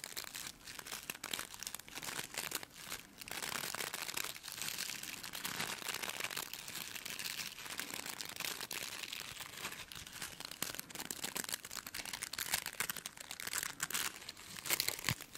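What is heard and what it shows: Long nails scratch across the dense plastic bristles of a white plastic brush, making a continuous bright, crinkling, scratchy rustle with many quick crisp clicks. The sound is mostly high-pitched with very little low end, and it pauses briefly between strokes.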